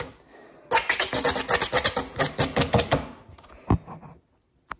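A flat, thin, grey-green textured rubber/foam mesh liner mat lying on a wooden table is tapped fast with long acrylic nails and fingertips in a typing-like rhythm. After a faint start, a rapid burst of sharp, bright clicky taps runs for over two seconds, then thins into softer scattered taps. A brief silence follows before one last isolated click.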